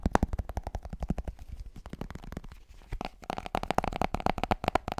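Fingers tap and scratch the white plastic lid and side of a plastic G Fuel powder tub held close to the mic. Rapid, dry, thumpy taps with a hollow midrange ring give way to quieter, softer scratching in the middle. The taps then return in a dense, stronger run.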